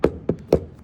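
A genuine Apple plastic laptop power adapter is tapped three times, giving short, dull knocks with a brief midrange ring around 460 Hz and almost no high end. The solid, heavy sound marks it as the real deal rather than a fake.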